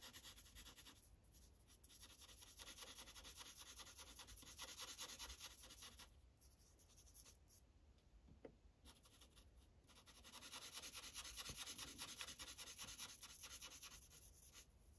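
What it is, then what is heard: Felt-tip marker coloring on paper over a clipboard. A blue Sharpie felt tip is rubbed back and forth in small coloring strokes across a thin paper coloring page on a white clipboard. The result is a quiet, bright, hissy scratching in a steady rhythm. It softens in the middle of the clip before picking up again.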